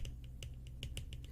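A plastic moisturizer container is tapped in a quick, irregular series of light, crisp clicks, each one short and bright with almost no ring. A steady low hum sits underneath the taps throughout.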